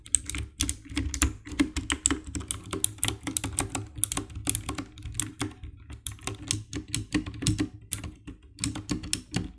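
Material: Plastic.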